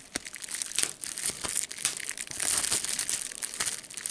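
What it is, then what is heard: Plastic bubble wrap being crumpled and popped. A clear plastic bubble wrap sheet with small air-filled bubbles is held up in both hands while fingers crumple and pop it. Continuous bright, hissy crinkling runs throughout, broken by many sharp, short pops with almost no low end.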